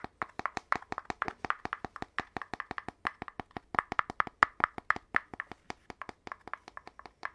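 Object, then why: Cardboard tube end cap. Fingers tap on the bare cardboard interior of the end cap from an opened red cardboard tube, held next to the empty tube body. About 44 quick, dry taps with a hollow mid-range knock stop dead with no ring, in a steady, uneven rhythm over seven seconds.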